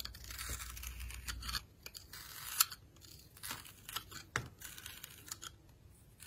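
A solid translucent red glycerin soap bar with a glittery edge, held in the hand, is scraped and carved with a metal blade that shaves off pieces. Bright, dry rasping and crisp tearing scrapes come in a long steady stretch, then in shorter bursts with a few sharper cuts, while a soft low rumble sits underneath at the start.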